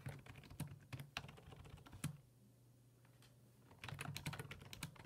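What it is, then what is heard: Plastic computer keyboard. Fingertips type on the hollow plastic keys of a black plastic full-size computer keyboard resting on a wooden desk, producing rapid repeated taps. The short, dry clicks come in bursts, with a quieter gap in the middle before the typing resumes.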